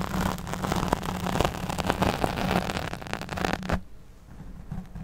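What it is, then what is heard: Foam microphone windscreen being scratched. Long nails scratch and stroke the black foam windscreen over a large studio microphone while the other hand holds the mic body. The result is a dense, crackling, rustling scrape over a steady low hum. The sound stops abruptly just before the fourth second, leaving a quieter, softer rustle.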